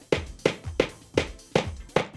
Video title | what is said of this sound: Modular Range - Assembling a Double Wardrobe | you tap it tap it until the sound changes